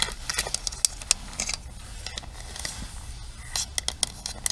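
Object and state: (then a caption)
Plastic paddle hairbrush. Long nails tap the rim, handle and bristle pins of a pink plastic paddle hairbrush. They make a quick, uneven series of short, bright plastic clicks and faint scratchy ticks that stop instantly, over a low steady background hum.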